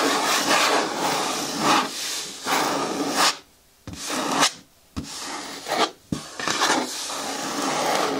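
Long nails scratch slowly across the side wall of an upright green hard plastic bin with a lid, making a dry, bright rasping sound in long strokes. The scratching stops for brief silent gaps, broken by three sharp taps, before the rasping resumes steadily.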